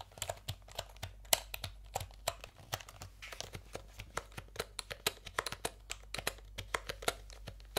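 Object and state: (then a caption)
Plastic computer keyboard. Fingertips press and tap the keys of a full-size backlit plastic computer keyboard with round typewriter-style plastic keycaps, held upright near the microphones. About 35 short, sharp, bright clicks come in an irregular typing rhythm, each dying away almost instantly, over a quiet, steady low hum.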